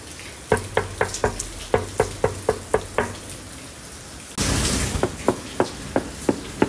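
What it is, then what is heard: Plastic scooter body panel. Knuckle knocks on the plastic body panel of a Honda Stylo 160 scooter produce short, dull, hollow taps with almost no ring. A quick run of knocks is followed by a pause, then a second, sparser set over a steady background hiss.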